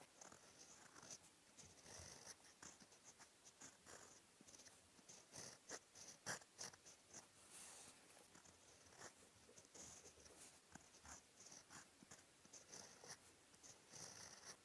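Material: Paper.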